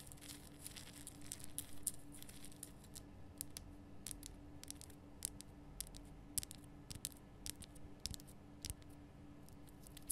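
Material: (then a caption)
Rock salt. Long nails scratch and tap the top and sides of a large, rough, glowing pink Himalayan rock salt lamp, a solid block of salt. Quiet, dry scratching runs throughout, broken by many sharp, bright clicks that stop instantly, over a faint steady low hum.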